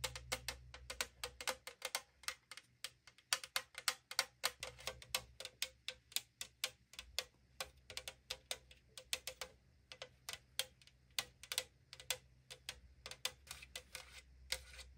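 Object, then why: Thin aluminum drink can tapped with fingernails. Long nails rapidly tap the printed surface of a tall AriZona aluminum drink can, a hollow thin-metal can. Each tap is a sharp, bright metallic tick that dies out almost instantly, in quick uneven bursts over a faint low hum.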